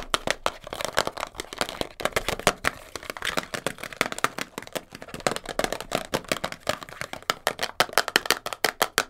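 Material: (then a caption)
Cardboard. Long blue nails rapidly tap and scratch a small, hollow, printed cardboard box of Elastoplast kinesiology tape, first held in the hands and then set on a fur rug. The result is a fast, dense stream of dry, crisp clicks and papery scrapes, centered in the midrange with a bright top, almost no low end, and very little ring after each tap.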